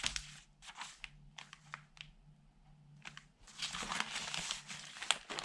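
Fingertips wearing rings rub and turn the pages of an open tabloid newspaper made of thin newsprint, lying flat on a dark table. Short, bright bursts of dry crinkling and rustling are separated by quiet gaps over a faint low hum. In the last two seconds the crinkling becomes denser and louder as the pages are turned over.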